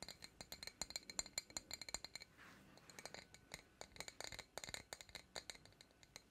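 A medium, empty-looking glass jar with a green lid and a printed Princess Tiana design is held up in both hands and tapped with long acrylic nails. Dozens of quick, bright, clicky taps with almost no ring come in rapid bursts, broken briefly by a softer, scratchy stretch before the tapping resumes.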